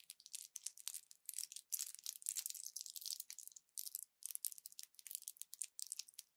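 A small orange plastic pill blister pack with a foil backing is held in both hands and squeezed and crinkled with fingertips and long nails. Bright, dry crackles and crinkles come in dense bursts with short pauses, with almost nothing in the low end.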